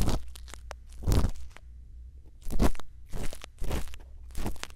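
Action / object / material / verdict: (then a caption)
scrape / bamboo earpick in a silicone ear microphone / silicone / none. A bamboo earpick scrapes inside the ear canal of a white silicone ear mounted on a round microphone housing. Close, crunchy scraping comes in several bursts over a steady low rumble, with quiet gaps between them.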